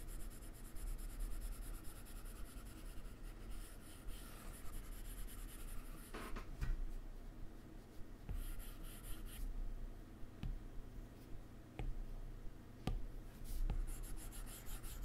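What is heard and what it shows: A hard plastic Apple Pencil tip held in the fingers rubs and taps across the solid glass screen of a large, flat iPad lying on a laptop keyboard while drawing a donut. Soft, continuous scratchy strokes are heard, broken by several short, light taps. The overall sound is quiet and dominated by low-end rumble.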